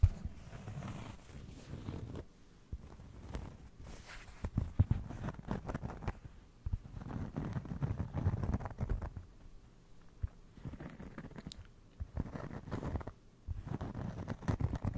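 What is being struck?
Round cork trivet.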